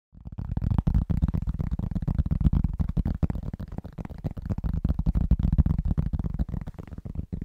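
Fingertips with short nails on both hands tap fast and rhythmically on a large, solid, round, flat cork trivet held upright in front of a microphone. The result is a dense, quick patter of deep, muffled thuds with almost no brightness and no ring.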